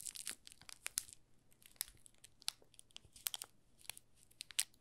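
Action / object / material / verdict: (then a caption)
scrape / thin plastic film around a bar of soap / plastic film / none. A solid, palm-size green olive Marseille soap bar wrapped in thin clear plastic film is held in both hands while fingertips rub and pinch the loose film. The result is quiet, bright, crisp crinkling and crackling in quick, irregular bursts, with almost no low end. Each crackle dies away almost instantly.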